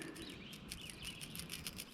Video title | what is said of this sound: Is This The BEST SWIM JIG COMBO For SUMMER Bass | Every time it hits the bait, it creates a little bit of a rattle.